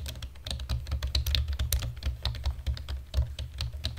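Fingertips and nails of both hands type rapidly on a black plastic computer keyboard. A quick, irregular stream of sharp, bright clicking key taps plays over a steady low hum.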